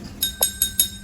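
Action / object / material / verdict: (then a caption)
tap / drinking glass filled with water, tapped with a spoon / glass / full. A drinking glass filled completely with water is tapped with a spoon four times to hear its pitch. Each tap gives a short, bright clink with high ringing overtones that fade within a fraction of a second.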